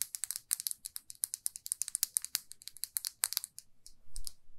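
A small, glossy red lacquered lipstick tube, held in both hands, is tapped and scratched with long fingernails. A rapid run of sharp, bright, dry clicks plays for about three and a half seconds. It ends in a brief, softer scratching swell.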